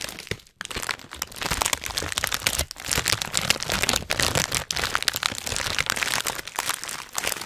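A filled Hot Nuts snack bag of metallized plastic foil is squeezed hard and crinkled in the hands. The result is a dense, bright stream of sharp foil cracks and crunching from the nuts inside, broken by a few brief pauses.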